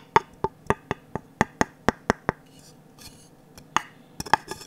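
A medium, glossy orange varnished wooden ladle with an empty bowl is tapped with a thin wooden stick. Ten evenly spaced, short, dry hollow knocks ring with a woody tone around 870 Hz and die away almost instantly. After a pause with a faint rustle, a few more quicker taps follow.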